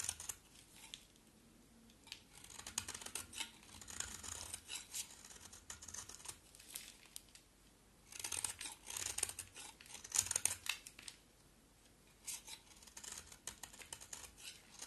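A rectangular, solid pink soap bar with a black painted coat is held in the hands and carved and scraped with a box cutter blade. Bursts of bright, crisp scraping and shaving come in clusters, separated by quiet gaps.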